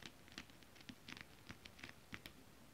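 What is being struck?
Scale-print fabric tapped with acrylic nails.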